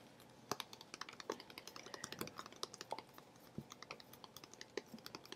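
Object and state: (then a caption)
Plastic water bottle. A teal Contigo plastic water bottle, hollow and partly filled with water, is held upright near the microphone and tapped rapidly with long fingernails. The result is a quiet, fast stream of crisp, bright clicking taps that die away almost instantly, with a light hollow tone in the lower mids.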